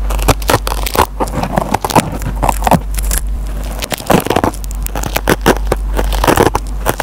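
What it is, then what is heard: Kitchen sponge with nylon scouring pad being scratched. A metal pen tip scratches and picks at the fibers of a dry kitchen sponge with a green nylon scouring pad. Dense, crackly scraping and crunching bursts come in quick irregular clusters over a steady low hum, with most of the energy in the low and mid range and little high brightness.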